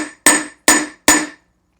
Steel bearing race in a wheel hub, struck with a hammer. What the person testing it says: kind of hollow sound when you're tapping when it's going in and then it'll be more like a thud when you get it bottomed out